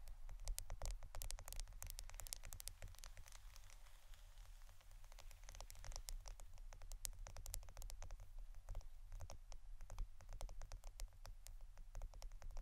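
A roll of plastic adhesive tape is tapped and scratched with quick, dense, dry clicks and brief bright ticks. The sound stays quiet over a steady low hum throughout.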